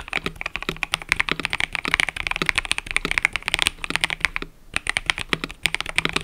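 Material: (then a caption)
Plastic. Fingertips, some wearing rings, type rapidly on a full-size mechanical keyboard with cream and purple plastic keycaps resting on a desk mat. The result is a continuous stream of short, bright clacks centred around 2 kHz, with a brief pause near the 4.5-second mark before the typing resumes.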